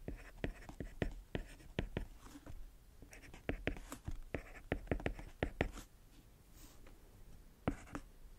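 A white plastic stylus writes equations on the solid, flat glass touchscreen of a tablet. Many small, sharp tip taps are heard with soft scratching strokes across the glass, each tap dying away almost instantly. The taps come in quick bursts with short pauses between them.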